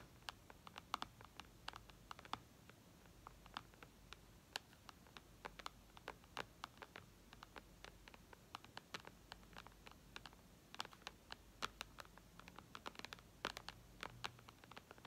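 Long red nails tap the glass touchscreen of a white iPad in a steady stream of quick, irregular taps. Each tap is a short, dry, bright click with no ring, heard quietly over a faint low background hum.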